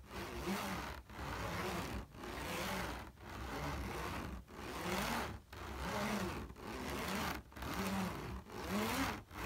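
Fingernails and fingertips scratch across a large, flat, taut black woven polypropylene trampoline mat in fast, repeated strokes. Each stroke makes a broadband rasping scrape with a low, hollow under-hum from the mat. The strokes come about once per second, separated by brief quiet gaps.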